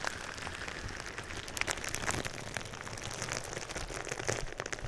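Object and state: Plastic bubble wrap.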